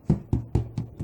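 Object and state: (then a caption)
Hollow-sounding baked bread loaf (done). The bottom of a baked bread loaf is knocked five times, giving short, dull, low-pitched thumps that die away almost at once. The loaf sounds hollow, so it is done.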